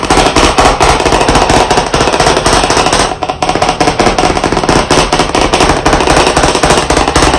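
Short chalk sticks held in both hands tap in quick bursts on the lower part of a large black chalkboard in a wooden frame. The result is a dense, steady stream of sharp, dry clicks with a brief lull just after the three-second mark.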